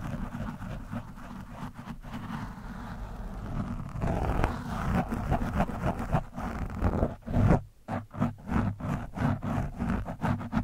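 A metal screwdriver scratches and pokes an orange foam windscreen on a microphone. A steady, muffled, low-heavy scratching rumble builds, then gives way to a run of dull, rhythmic thumping pokes with short gaps between them.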